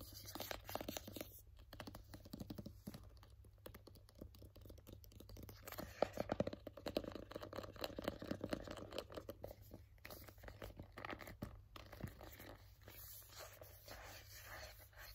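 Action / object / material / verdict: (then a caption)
tap / small printed cardboard box / cardboard / none. Fingertips and nails tap and scratch a small, hollow, white printed cardboard AirPods box held in both hands. Quick, dry, close taps and rasping scratches come in a dense stream, with a steady low hum beneath and a louder stretch of scratching in the middle.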